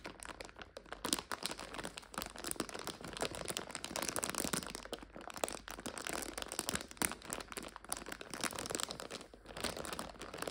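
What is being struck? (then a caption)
Plastic bag of dried noodles. Long nails tap and scratch on a clear plastic bag full of dried egg noodles while hands squeeze it, making a steady stream of bright crinkling with crunchy snaps. The crackling runs on without pause, with short, dry bursts that stop almost instantly and little low end.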